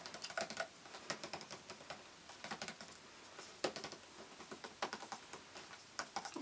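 Fingernails tap rapidly on a hand-sized, hollow N7 printed cardboard cosmetics gift box with a window front, held on a lap. Quick bursts of light, crisp clicks come in clusters separated by brief pauses. Each tap is short and dry, with a bright, papery tone and almost no low end.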